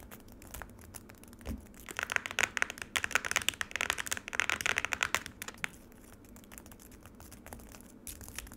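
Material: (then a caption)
Ice, plastic. Long nails tap quickly on the icy surface of frozen lemonade in a black plastic tray. The taps are sharp, dry and crinkly with a bright, high edge, growing into a dense, louder flurry in the middle before falling back to sparse, quieter clicks.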